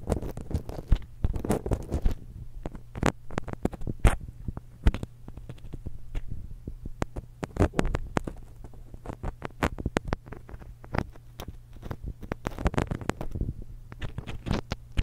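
Long acrylic nails scratch and rub the crossed metal capsules of a small silver X/Y stereo microphone. Dense bursts of close, crackly scratching and sharp tapping clicks come over a steady low hum. The sound is boomy and bass-heavy, with only brief bright ticks.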